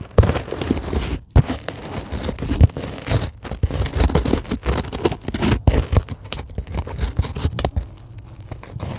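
Long glittery acrylic nails scratch across a flat, solid sheet of white closed-cell polyethylene foam. The result is a dense, continuous run of dull, crackly scraping with a heavy low-end thump, broken by a few brief pauses. The scratching fades to a softer rustle near the end.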